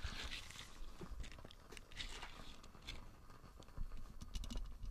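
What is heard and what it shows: A small light-blue nubby silicone dish scrubber with a hanging loop is held in the hand while its bristles are scratched and squeezed with nails and fingertips. The result is quiet, continuous crunchy scratching and squishing, with soft low thumps underneath and brief bright scratchy bursts.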